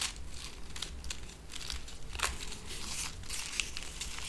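A small strip of connected paper silica gel desiccant packets filled with beads is held between fingertips with long painted nails and crinkled and rubbed, possibly tearing along the perforation. Dry, bright crackling bursts come in quick irregular clusters over a steady low rumble, each crackle stopping almost at once.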